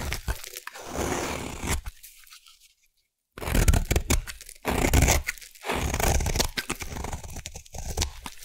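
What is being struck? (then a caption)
Bar of soap. A solid light green bar soap held in the hand is scraped with a metal blade into shavings, giving dense, crunchy tearing and scraping strokes with a deep, rough low end and bright crackle. The scraping pauses into near silence for about a second midway before resuming in several more long, gritty passes.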